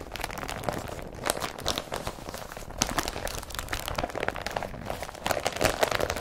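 An empty blue woven polypropylene IKEA BRATTBY carrier bag lies flat while fingers rub and pat it, making continuous dry crinkling and scratchy rustling. Short bright crackles and soft pats come through over a low, steady texture.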